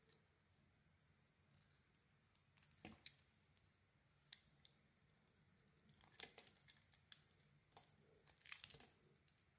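A solid red-striped white bar of soap is cut and shaved with a metal utility blade. Quiet, bright, crisp scraping and crunching bursts come in scattered clusters over a low steady hiss. The louder strokes bunch together in the second half.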